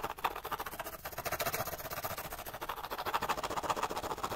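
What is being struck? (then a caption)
Small cardboard light bulb box. Fingernails rapidly scratch and tap the sides of a small, hollow, empty cardboard light bulb box. The result is a fast, irregular stream of dry, papery taps and scrapes with a hollow, boxy tone around 950 Hz and a bright, hissy edge. Each hit dies away almost instantly.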